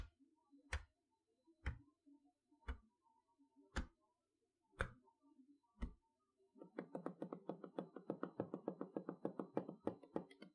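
Long fingernails tap on a large, flat cardboard toy box of a magnetic chalkboard set standing on a table, striking the plastic window over the letters and the box edge. Six slow, separate taps come about once a second, each a dry, short click with a soft low thump. Then a rapid, dense run of quick taps continues to the end.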